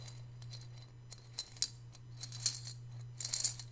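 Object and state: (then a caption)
Ceramic piggy bank with coins rattling inside. A hand-sized, hollow, white glazed ceramic piggy bank holding coins is held in both hands, shaken and tilted so the coins rattle inside. Bright, short metallic clinks and jingles come in irregular bursts, with a cluster near the end, over a steady low hum.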